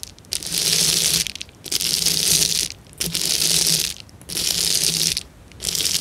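Fingertips and long nails rub and scratch a clear plastic bubble wrap sheet of hollow air bubbles resting on a table. The result is a bright, dense crinkling and crackling that comes in long bursts separated by brief quiet pauses, with a faint low hum underneath.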